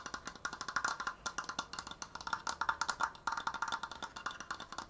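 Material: Wood.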